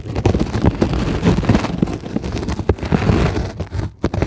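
Long glittery acrylic nails on both hands scratch and tap a flat, solid, white closed-cell polyethylene foam sheet. The result is a dense, continuous run of dull, muffled scrapes and soft taps, heavy in low tones with almost no brightness. Each tap dies away almost instantly.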